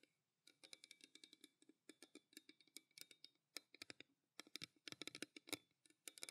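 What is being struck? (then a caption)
Stainless steel tumbler. Fingertips and long nails tap rapidly on the side of a pale green stainless steel tumbler held in both hands. About 35 quick, quiet, bright clicking taps come in uneven bursts, each with a dull knock underneath and almost no ring. There is a brief pause near the start and another partway through.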